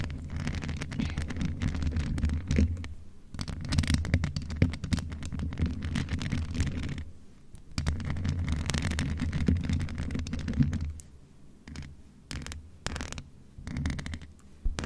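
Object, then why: Metal microphone with mesh grille. Long nails of both hands scratch and rake over the rounded mesh grille of a hollow grey metal USB condenser desktop microphone. The result is dense, boomy low scratching in rapid bursts, with short pauses around 3 and 7.5 seconds. The last few seconds turn quieter and more scattered.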